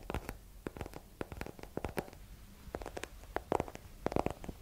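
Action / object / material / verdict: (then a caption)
tap / hardcover book / cardboard / none. A small solid hardcover book with a yellow paper cover and an exposed page block is held and tapped on its cover with long nails. Quick, dry taps come in bursts with tiny gaps, each click dying away almost at once. Some taps carry a slight hollow tone and a papery scrape between them.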